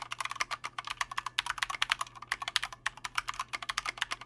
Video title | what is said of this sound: Corsair K65 RGB Mini Review: Too Little; Too Late | it's got ping for days it sounds hollow and it's really loud and that's because there's no sound dampening material inside this case at all